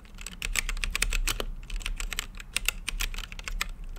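Fingertips type continuously on a plastic mechanical keyboard with plastic keycaps on a translucent acrylic case. A rapid stream of short, bright, clicky keystrokes with almost no ring sits over a steady low rumble.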